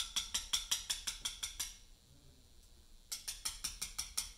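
A mallet drives a chisel into a large, solid Portland limestone memorial block during letter cutting. About sixteen quick, bright taps ring briefly in a steady rhythm, in two runs separated by a pause of just over a second.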